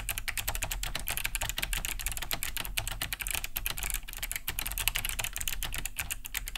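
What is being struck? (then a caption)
Plastic mechanical keyboard. Both hands type fast with their fingertips on a large beige Cherry G80-3000 mechanical keyboard fitted with Kailh BOX White switches, with a hollow plastic case and thick plastic keycaps, resting on a wooden desk. A rapid, steady stream of bright, clicky key-switch taps rings out, each very short, over a low, constant hum.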